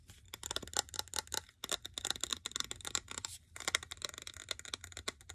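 Fingernails rapidly tap and scratch the glass sides of a medium glass jar filled with cream-colored candle wax and topped with a grey lid, held in both hands. The clicks and scrapes are bright, crisp and dry with almost no low end, coming in dense bursts with two brief pauses.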